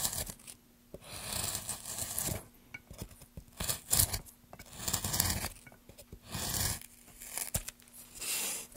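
A metal gouge pushed by gloved hands peels long shavings along the grain of a solid, light wooden plank. Each push makes a dry, bright, rasping scrape, like tearing, separated by short quiet pauses, over a faint steady low hum. The strokes come in repeated bursts with a few sharp clicks between them.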